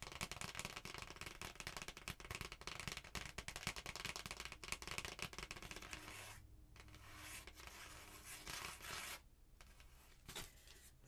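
Long painted nails of both hands scratch and tap a thin, flat red printed cardstock Christmas card held up close. Dense, bright, crackly scratching with rapid light taps fills the first six seconds. It then eases into softer, smoother rubbing broken by two brief quiet gaps.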